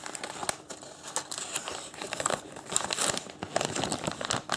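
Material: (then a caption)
Paper. A thin printed paper instruction leaflet, folded in long strips, is unfolded, crinkled and refolded with bare fingertips. The result is a continuous run of dense, bright paper crinkling and crackling with short dry snaps and almost no low end.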